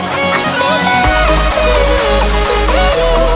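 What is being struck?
Nothing is struck.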